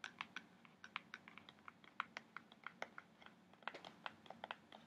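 Fingertips and nails scratch and tap the front face of a kraft cardboard box printed with an orca, held upright. About 27 quick, dry taps land in an irregular rhythm over a faint scratchy hiss. Each click is bright and crisp and dies away almost instantly.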